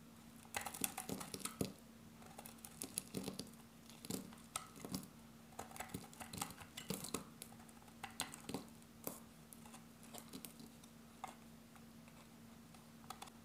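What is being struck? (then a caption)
Bar of soap cut with a blade. A solid grey dry bar of soap held in the hand is scored and cut with a metal utility blade, giving rapid, crisp ticking cuts. The dry, bright clicks come in quick irregular clusters over a quiet, steady low hum.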